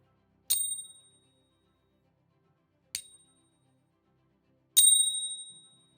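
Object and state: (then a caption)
Genuine silver bullion coin. An authentic American Silver Eagle coin (1 oz fine silver) is ping-tested three times. Each tap gives a bright, bell-like ring with high tones that fade out over about half a second to a second. The coin is confirmed genuine by its weight, a magnet test and a ping-test app.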